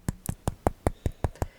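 Eight quick, dull taps on a crumbly oat biscuit held close to a microphone, each a short low thud with a brief bright click on top. The taps come at an even pace and die away almost instantly, with no ringing.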